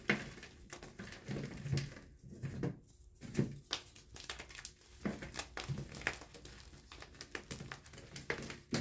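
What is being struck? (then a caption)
Gym chalk block (magnesium carbonate). Small white blocks of CAP gym chalk (magnesium carbonate) are pressed, crushed and rubbed between fingertips with painted nails over a white bowl of loose chalk powder. Soft, dry crumbling crunches and gritty rubbing come in an irregular stream of short, quiet bursts with little ring. Pieces break apart and powder falls into the bowl.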